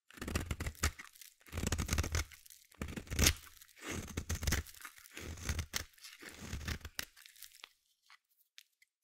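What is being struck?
Bar of soap shaved with a metal blade.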